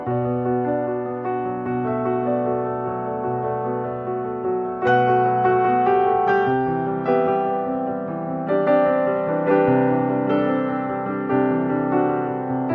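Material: Nothing is struck.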